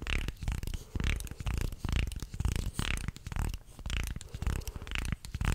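A wooden segmented shark toy is bent into an arc with both hands while fingertips rub and click along its slats. The result is a dense, irregular run of short, dry clicks and scraping rubs over a heavy low-end rumble, with little high-frequency content.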